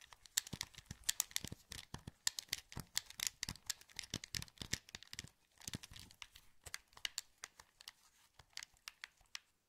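Thumbs press the sticks and buttons of a hollow, translucent green plastic PS2 wireless controller held in both hands. Dozens of quick, quiet, dry clicks and taps follow in a rapid, uneven stream, with a brief lull around the middle. Each bright, crisp click stops at once with no ring.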